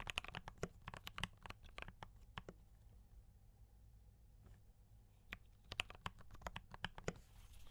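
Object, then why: Mechanical keyboard with plastic keycaps. Both hands type with fingertip taps on a compact D84 mechanical keyboard with brown switches and cream and red plastic keycaps. Quick bursts of sharp, bright clacks with a dull low thud give way to a quiet pause of only faint taps, then fast typing resumes over a steady low hum.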